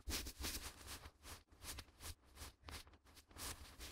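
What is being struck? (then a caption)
Sheet of printer paper. A sheet of white A4 printer paper is held in both gloved hands near the microphones and flexed, waved and rubbed with the fingertips. It makes a steady series of crisp, bright rustling and crinkling bursts over a soft low rumble, rising and falling in loudness throughout.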